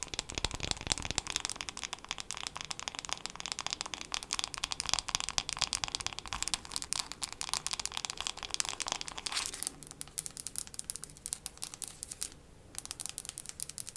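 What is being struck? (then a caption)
Wooden hairbrush. A wooden hairbrush is tapped quickly with long nails for ASMR. The result is a dense, steady stream of crisp, bright clicks and crinkly taps, easing slightly and thinning out toward the end.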